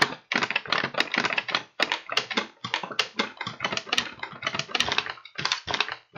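An empty kraft paper bag with blue print and paper handles, hollow and held in both hands, is tapped and crinkled by fingertips. Quick, bright papery rustles and soft taps come in dense, uneven bursts with brief pauses, most of the energy sitting in the high range with almost no low end.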